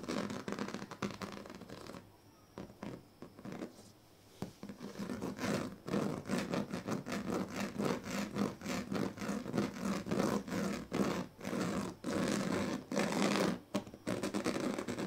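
The tail of a comb, then its teeth, are dragged across the strips of a large, flat, woven plastic sleeping mat. This makes a dense series of rough, raspy scratching strokes that come in quick, uneven bursts, with a quieter stretch near the start. The strokes grow fuller and more continuous toward the end.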